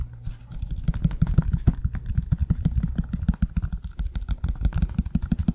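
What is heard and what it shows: Fingertips and nails scratch the beige insole and tap the outer leather of a hollow, empty black leather stiletto pump held over the mic. The result is a rapid, uneven run of dull, low thumps and soft scratching, with very short decay and almost nothing bright above.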